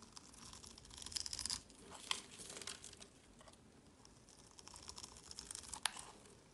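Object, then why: Bar of soap scraped with a metal blade. A metal utility-knife blade scrapes across the cross-scored surface of a solid, palm-sized orange bar of soap held in the hand, crumbling off small cubes. Quiet, dry, crisp scraping and crunching, mostly bright, with a few sharper clicks standing out partway through and near the end.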